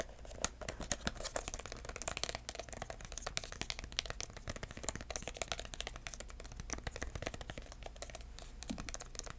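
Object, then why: Small cardboard box tapped with fingertips. A small, hollow red cardboard box with dark corner pieces, held flat, is tapped with bare fingertips (no nails). It makes a rapid, continuous stream of soft, dry, papery taps that stop instantly, over a faint steady low hum.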